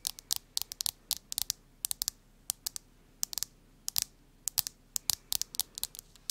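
Long nails scratch and rub the back and edges of a smartphone in a printed plastic case. About 29 short, bright, high-pitched clicks and scrapes come in quick, irregular bursts, each dying away almost instantly over a quiet background.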